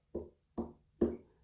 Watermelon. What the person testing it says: sounds hollow inside and that's gonna tell you that your watermelon is ripe